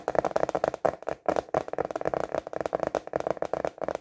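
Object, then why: Thin plastic container lid. A translucent rectangular clear plastic container lid is held vertically in both hands and tapped quickly with the fingertips on its thin plastic. The result is a rapid run of dry, hollow, clicky taps with a mid-pitched resonance around 630 Hz. The taps have almost no ring and little low end, with brief pauses between bursts.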